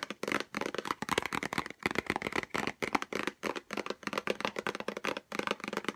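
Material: Cardboard.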